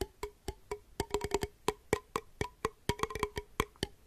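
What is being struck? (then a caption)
Small glass jar with metal lid. A small, empty, hollow clear glass jar with a copper-colored metal lid is held near the microphone and tapped with the fingertips. It gives a quick, uneven series of short, dry, woodblock-like knocks with a hollow tone around 430 Hz and a faint ring near 1 kHz. Each knock dies away almost instantly.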